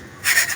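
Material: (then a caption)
Fried lentils. Fried chana dal namkeen (crispy fried split chickpea snack mixed with chaat masala) is stirred or shaken, giving a quiet rustle that swells into a bright, dry rattling crunch of the pieces shifting against each other. The sound marks the snack as crispy and khasta.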